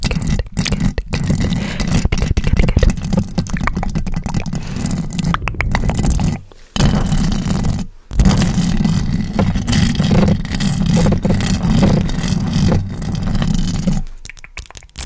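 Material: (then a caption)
Metal mesh. Long decorated acrylic nails scratch and tap the round metal mesh grille of a large pink USB microphone, held still, right at the capsule. The result is a dense, close, bass-heavy rasping and thumping, broken by two brief silences near the middle, that thins out and drops away in the last second.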